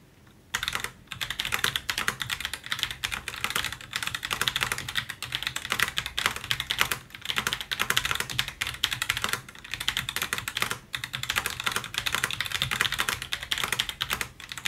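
Both gloved hands type continuously on the plastic keycaps of a plastic and aluminium Roccat Vulcan 122 AIMO mechanical gaming keyboard, its RGB backlight glowing in a dark room. A dense, bright, crisp clatter of fast, short keystrokes begins after a quiet half-second and carries on with only brief pauses.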